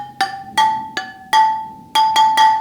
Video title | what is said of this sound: EP:20 BMW GS/A Spoked Wheels & Adjustment, Lose Spoke adjustment & Tension, how to fit new spokes GS | It still sounds too tight